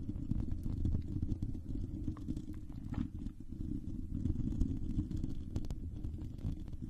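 Long pink acrylic nails scratch a silver hollow metal mesh microphone grille, with one hand briefly lifted mid-stretch. The result is a steady, dense, low rumbling scratch with little high-end sound and a brief dip in level partway through.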